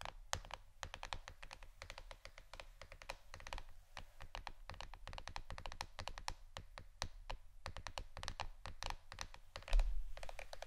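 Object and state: Plastic board, tapped.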